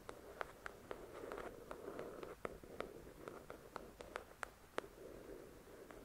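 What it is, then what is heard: Paperback book tapped and scratched with nails. Long acrylic nails tap and scratch the glossy card cover of a thick paperback novel lying flat, its solid paper block beneath. Quick, crisp clicks ring out over a soft, steady scratching hiss. The taps are short and dry, with little ring, and the whole passage stays quiet.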